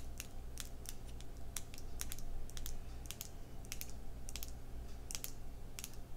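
Long red nails tap rapidly on a small square clear glass skincare jar with a pink-white plastic lid, held close. They make quick, dry, bright clicks over a steady low hum that runs throughout.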